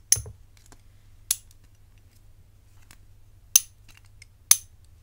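A hollow-centered rigid bangle of gold-tone metal with black enamel inlays is held in the hands and tapped and scratched with long nails. Four sharp, bright metallic clicks sound at uneven intervals, each centered high and dying away almost instantly with little ring. Faint soft ticks fill the quiet between them.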